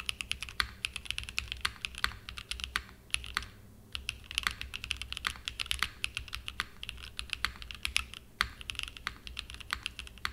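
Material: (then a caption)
Aluminum, plastic. Fingertips type continuously on a small 60% Frog mini mechanical keyboard with a purple aluminum case and cream and purple plastic keycaps, resting on a desk mat. Rapid, bright, clacky key presses run throughout, each one short with almost no ring, broken by brief pauses.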